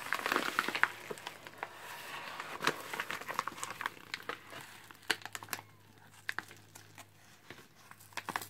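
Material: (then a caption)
Paper. Gloved hands hold up a white padded paper mailer envelope and crumple, rub and tear its paper and bubble-lined layers. A dense burst of bright crinkling at the start thins into scattered sharp crackles and short tearing snaps over a quiet background.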